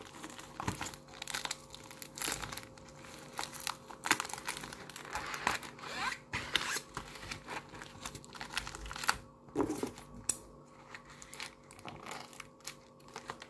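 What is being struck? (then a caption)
Plastic bubble mailer. A pink padded plastic bubble mailer is held up in both hands while its flap is pulled open and the envelope is handled with the fingertips. Dense, bright crinkling and tearing rustles come in quick, uneven bursts with a few sharper crackles, and a faint steady hum sits underneath.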